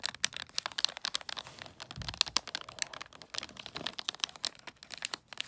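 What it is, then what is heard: Foil wrapping paper on a gift box, tapped with nails. Long nails tap quickly on a long gift box wrapped in holographic tree-print foil paper with a red gift tag. Each crisp, dry tap is bright and crinkly, with almost no ring and little low end, forming a fast, uneven patter of sharp clicks throughout.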